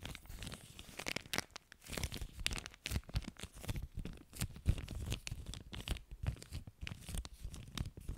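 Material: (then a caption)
Plastic. An empty clear plastic zip-lock bag with a red seal strip is stretched and crinkled between both hands in front of a microphone. Dense bursts of sharp crinkling and crackling, bright and crisp with a low handling rumble underneath, come in irregular waves throughout.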